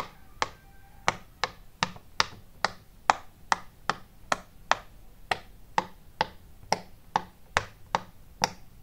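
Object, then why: Silicone pop-it fidget toy. Fingertips press and pop the hollow domed bubbles of a flat, rainbow-shaped, hand-sized silicone pop-it fidget toy. Nineteen short, sharp clicky pops with bright snaps and almost no ring follow one another at a fairly steady pace.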